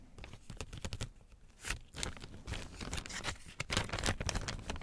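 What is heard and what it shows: A thin, transparent, empty plastic packaging bag printed with WARNING/ADVERTENCIA text is held in both hands and crinkled and crumpled with the fingers. Dense, irregular bright crackles and rustles come in quick bursts over a soft low rumble, growing louder toward the end.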